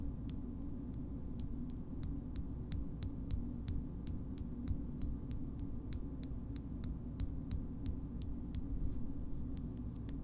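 A small pink frosted glass cream jar is tapped on its base and side with long nails, making a steady series of short, bright, clicking taps. The taps stop dead at once, over a constant low hum.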